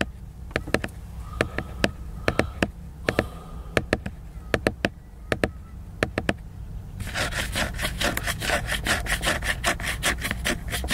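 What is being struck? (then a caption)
Laminated cardboard hardcover book. Fingernails scratch back and forth across the cover of a large, solid, flat laminated glossy cardboard hardcover book. At first, short, sharp, separated strokes click against a soft low background hiss. In the last few seconds, the strokes turn into a faster, denser, steady scratching with a bright, papery rasp.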